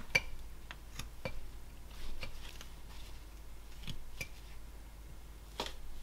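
A knife whittles a small solid basswood figure held in a gloved hand, making short cuts that scrape the wood. Quick, dry, bright scraping ticks come at irregular intervals, with a few softer rasping strokes between them, over a steady low hum.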